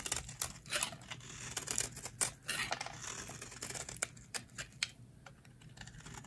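A metal utility blade scrapes curly shavings off a solid, hand-sized, rectangular bar of dry pink soap held in the hands. The result is a rapid run of crisp, bright scraping clicks and short rasping strokes with very little low end and almost no ring after each cut.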